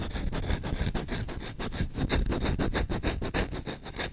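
The bowl of a solid wooden spoon is rubbed and scratched rapidly with short nails and fingertips. Quick, uneven scraping strokes run together at about three per second, with a dull, low-heavy rubbing body and a thin bright grainy edge that stops almost instantly.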